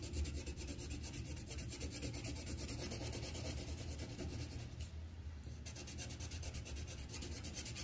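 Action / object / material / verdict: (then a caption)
scrape / wooden colored pencil on paper over a clipboard / paper / none. The tip of a green wooden colored pencil is rubbed in quick strokes across a thin white paper sheet on a clipboard, coloring in a leaf. A steady, rapid scratchy rasping carries a strong low rumble beneath fine bright grain, with a brief lull around the five-second mark before the strokes resume.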